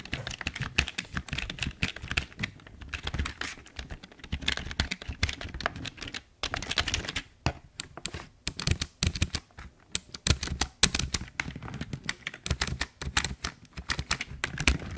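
Fingertips type on a full-size black plastic Logitech keyboard, hollow and held at an angle. A steady stream of quick, dry clacks with a hollow low thump behind them comes in bursts with brief pauses, each keystroke dying away almost instantly.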